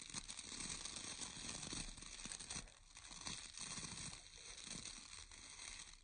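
Fingertips rub and scratch through the bristle rows of a round bristle hair brush with a wooden core, shown up close. The result is a steady, quiet, bright crackling scratch that dips briefly near the three-second mark and softens toward the end.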